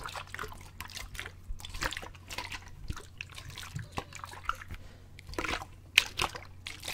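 A clear plastic bottle partly full of water is held in both hands and tilted back and forth, sloshing the water inside. Quiet, bright liquid swishes and drip-like trickles come in short bursts over a faint steady low hum, with one sharper splash near the end.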